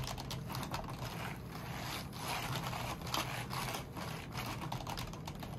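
White cotton-gloved fingers press, rub and wipe across the keycaps of a full-size black plastic membrane keyboard with a wrist rest on a stone-look table, cleaning it while a dark tool or cloth moves over the top rows. Soft, hollow plastic clicks and taps mix with steady scraping and rubbing over a low, even background rumble.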